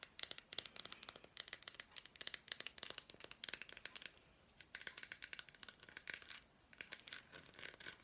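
A small unwrapped piece of a solid milk chocolate bar with fruit pieces is held in the hand and tapped and scratched with long black nails. Quiet, bright, crisp clicks and dry scratchy crackles come in rapid flurries, with brief pauses near the middle and toward the end. Each click stops almost instantly.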